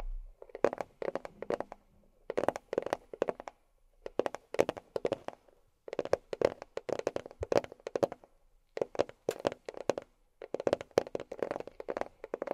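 A box is tapped with long fingernails in quick, clicky bursts separated by short pauses. Each tap is a sharp, bright tick over a hollow midrange tone, and the taps die away almost at once.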